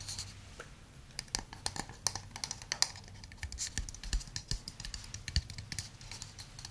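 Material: Wood.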